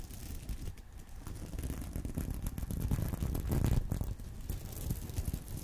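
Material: Plastic.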